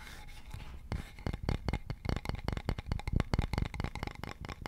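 Fingertips and nails tap and scratch along a solid, polished, leaf-shaped wooden board with a central hole, held diagonally. A quick, irregular run of dry, short taps with soft scratching in between, each tap a dull, low knock that stops almost at once.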